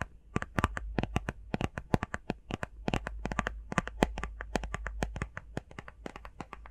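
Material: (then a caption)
Cardboard. Fingernails tap quickly on a small, hollow, rectangular printed cardboard face mask box. The result is a rapid, uneven run of sharp, dry clicks with bright tops and almost no ring, over a steady low hum.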